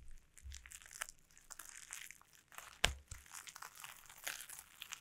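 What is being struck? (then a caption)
Plastic bubble wrap sheet. Taped, sticky fingertips tap and press on the bubbles of a clear plastic bubble wrap sheet lying on a table, then peel away. The result is a steady run of soft, bright crinkles and tacky peeling clicks, with one sharper snap near the middle.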